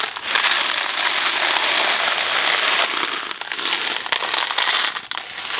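A small Kraft macaroni and cheese cardboard box filled with dry pasta is held in one hand, turned and shaken. The dry pasta makes a dense, bright rattling hiss, steady for about three seconds, then surging and dipping with each turn before easing off at the end.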